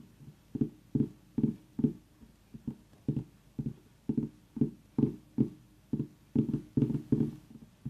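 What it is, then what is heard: Mini orange pumpkin. Fingernails of both hands tap rapidly on the rind around the stem of a tiny whole orange pumpkin. About twenty short, dull, hollow knocks sit low in pitch and die away almost instantly. They come in an uneven, quick rhythm.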